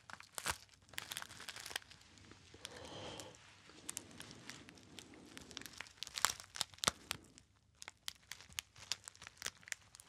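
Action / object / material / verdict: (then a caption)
scrape / metallic foil packet / metal foil / none. A small, sealed, rectangular gold metallic foil packet that is not empty is held in the fingers and crinkled and squeezed with the fingertips. Bright, sharp crackles and snaps come in irregular bursts, with a softer stretch of rustling through the middle before the crisp crinkling picks up again.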